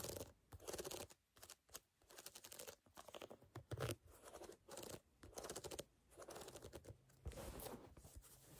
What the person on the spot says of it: In this video I am tapping and scratching on a canvas sneaker.